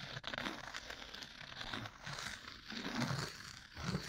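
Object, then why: Cork coaster. A thin, solid, round cork coaster is held upright next to the mic and scratched with two bamboo ear picks held together in repeated strokes. The result is a steady, dry, crinkly scratching with a crackling high texture and soft low rustle underneath, swelling slightly with each stroke.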